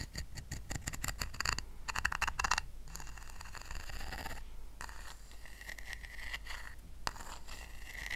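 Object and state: Woven rattan coaster.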